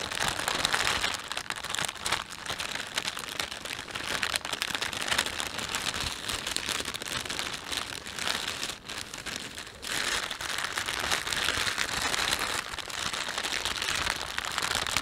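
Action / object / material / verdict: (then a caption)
scrape / thin plastic shopping bag / thin plastic / none. A thin, empty plastic panda shopping bag is rubbed and crumpled between both hands, giving a steady, dense crinkling. The crackle is bright and hissy with almost no low end, and it dips briefly in loudness around the middle before resuming.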